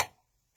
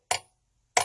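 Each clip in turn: First: A short, dull tick around 840 Hz that dies almost at once: a solid, filled metal knife handle. Second: Two bright metallic clinks, pitched near 730 Hz with a thin high sheen: a hollow metal knife handle.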